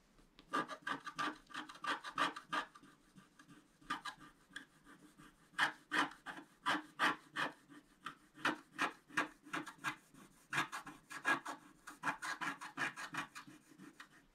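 A wooden stylus scratches along the lower edge of a flat coated scratch-art paper card lying on a table. The result is a run of short, dry, raspy strokes in quick but uneven succession, with a bright scratchy tone and almost no low end.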